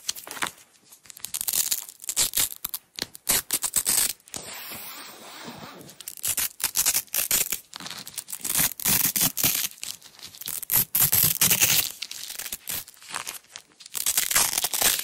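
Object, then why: Nylon hook-and-loop (velcro) tape roll. A roll of red nylon velcro (hook-and-loop) tape is held close while long nails peel the strip apart and press it back down. The sound is a run of dense, bright, crackling rips and scratches with little low end, broken by short pauses and one quieter, steadier stretch.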